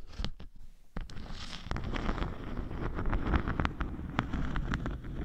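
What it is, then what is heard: Beeswax honeycomb sheet. A thin, flat, solid sheet of natural beeswax with a honeycomb texture is held in the hand and scratched with long nails. The sound is a close, rough scratching with a steady low rumble underneath. Many short, bright clicks and strokes come through, starting sparse and growing denser.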